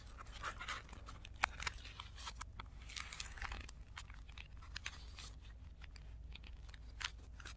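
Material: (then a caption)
Tissue paper. Fingertips fold and rub the creased bottom edge of a stack of thin, crinkly blue tissue paper sheets lying on a dark cloth, with the sound played in reverse. Soft, continuous paper rustling is broken by sharp, bright crackles, over a steady low hum.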